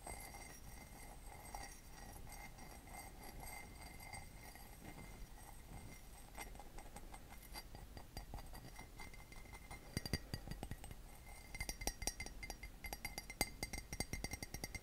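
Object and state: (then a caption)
Ceramic mug tapped and scratched. Fingernails tap and scratch the side of a hollow, empty white glazed ceramic mug with a red heart pattern. Soft scratching over a low, quiet rumble gives way to sharper, brighter clicking taps that grow denser and louder toward the end, with a faint steady tone around 2 kHz throughout.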